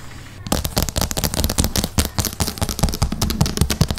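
Long painted acrylic nails on both hands tap rapidly across a large, flat, solid light-grey wood-grain laminate tabletop, with the microphone resting on the table. After about half a second of quiet, a dense, irregular flurry of sharp clicks begins, each with a deep, thumpy body and a bright tick on top. The taps die away almost instantly.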